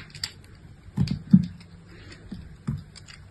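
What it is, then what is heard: Bar soap being cut. A small solid piece of pink bar soap, held in fingers with long nails, is shaved and cut into chips with a utility-knife blade. Several short, dry, low crunching scrapes sound in bursts, with a faint brighter tick near the start and almost no ring after each cut.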